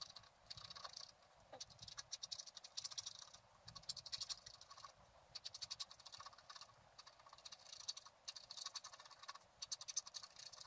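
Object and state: Scratch art paper being scratched.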